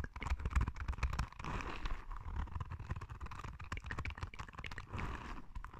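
A palm-sized yellow soft rubber spiky sensory ball is held close and scratched with long red nails, making dense, rapid scratchy clicks and rubbing. The sound is mostly low and thumpy with a soft mid-range rasp, and it swells into brief smoother rubbing passages.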